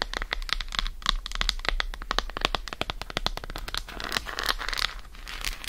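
Long acrylic nails rapidly tap and scratch the segmented surface of an unwrapped, hand-sized solid Lindt dark chocolate bar held on a fur rug. The result is a fast run of short, dry, bright clicks peaking near 3.8 kHz, mixed with crinkly scratching over a steady low hum.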